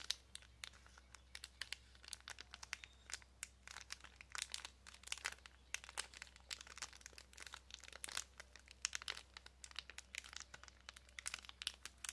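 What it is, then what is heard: Plastic packaging bag with a card of press-on nails. A small clear plastic packaging bag holding a card of pink press-on nails is crinkled and tapped with long nails. Quiet, bright, crisp crinkles and quick sharp taps come in a dense, irregular stream for about twelve seconds over a faint, steady low hum.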